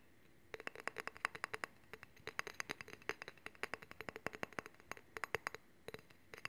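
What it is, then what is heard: Steel honing rod. A long, solid steel honing rod is held horizontally in both hands while fingernails tap and scratch along the rod and its handle. Dozens of quick, light metallic ticks come in uneven bursts, each with a short bright ring over a faint scratchy hiss.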